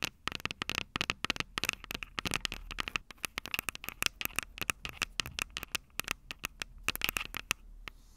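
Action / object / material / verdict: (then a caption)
tap / metal microphone capsules of a handheld recorder / metal / none. Long purple nails tap and scratch the metal microphone capsules of an upright Tascam DR-05 recorder. The result is a rapid, dense stream of sharp, bright clicks and scratchy crackles with a faint ringing tone near 2.7 kHz and very little low end. The taps ease off near the end into a soft hiss.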